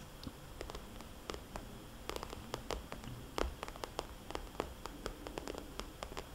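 Long, dark-polished fingernails tap a small, red polka-dot, glossy plastic cosmetics bag, a hollow pouch held upright at an angle. The taps are sharp, bright clicks that die away almost instantly, falling at irregular intervals over a quiet, steady low hiss and rumble.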